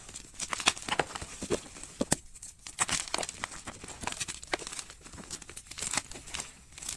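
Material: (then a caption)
Chalk. Fingers squeeze and crumble a white solid gym chalk block and its broken chunks in loose powder, crushing the pieces into powder. Dry, crisp crunches and crackles come in quick, irregular bursts, bright and short with almost no low end or ring.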